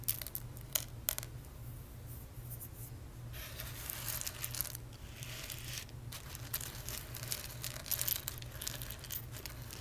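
Fingertips and nails rub and scratch through a loose pile of small, hard, dry whole roasted coffee beans on a dark surface and pick them up. Quiet, crisp clicks and bright, scratchy rattling rustles rise and fall over a steady low hum. A few sharper clicks stand out near the start.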